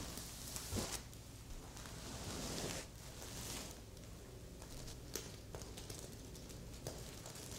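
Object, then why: Sequin-covered stuffed fabric pillow. Long red and pink nails scratch and brush across a medium, soft stuffed heart-shaped pillow covered in red reversible plastic sequins on fabric. The result is a quiet, continuous bright rustle and crackle of sequins flipping, with occasional sharper clicks rising above the steady hiss.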